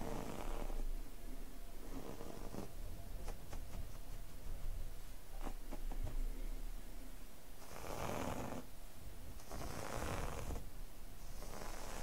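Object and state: Nothing is struck.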